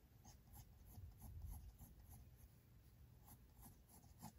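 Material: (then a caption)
Paper. A mechanical pencil tip makes continuous small drawing strokes on the white paper page of a spiral sketchbook resting on a desk. Quiet, rapid scratchy strokes repeat with bright, brief ticks over a soft low rumble.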